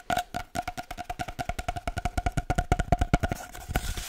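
A long, hollow, empty cardboard paper towel tube is tapped rhythmically with the fingertips, producing a steady run of about 31 short, dull, drum-like knocks. Each tap is mostly low thump with a clear hollow tone near 700 Hz and dies away almost at once. Toward the end, a faint bright hiss rises beneath the last few taps.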